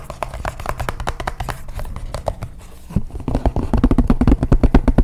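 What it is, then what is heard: Cardboard phone box. A small, white, printed cardboard smartphone box, closed and hollow, is held in both hands close to the microphone and scratched and tapped across its surface with fingertips and nails. Quick, irregular, dry taps give short, dull, hollow thumps with a low, boomy body, and there is a softer scratchy stretch in the middle. The tapping then returns louder and denser toward the end.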